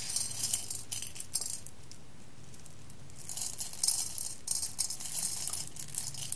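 A hand scoops roasted coffee beans from a clear glass bowl and lets them fall back onto the pile and the glass, making bright, dense rattling clicks and clinks. The pouring comes in bursts, with a quiet pause in the middle before a longer, busier stretch of falling beans.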